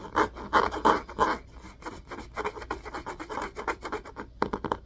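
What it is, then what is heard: Hardcover book cover scratched. Fingernails of both hands quickly scratch the top of the spine of an orange hardcover book with a cloth-covered cardboard cover, held upright. The result is a rapid, uneven run of dry, raspy scratching bursts centered in the midrange, with short bright edges and almost no low end. Each scrape dies away almost immediately.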